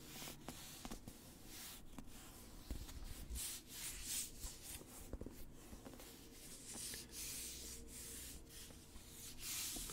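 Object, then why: Cloth- or paper-covered hardcover book. A medium-sized black hardcover novel with paper pages and a cloth- or paper-covered board cover is held up in both hands while fingertips rub across the cover. The result is a quiet, continuous scratchy rubbing with bright, hissy strokes that swell and fade, over a soft low rumble.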